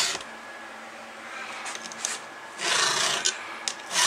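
A round steel file is pushed across a cutter tooth of a solid steel chainsaw chain held in the fingers. It makes bright, dry rasping strokes with almost no low end, between quieter stretches of light scraping. The longest, loudest stroke comes near the end.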